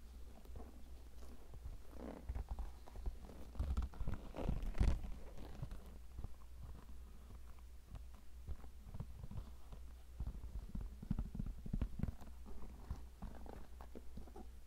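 A hollow, empty tan leather cowboy boot with stitched decoration is held up in both hands while painted medium-length fingernails tap and scratch along its shaft. Quiet, muffled taps and soft scratching rise over a steady low hum, growing briefly louder and denser near the middle before settling back into a light, uneven patter.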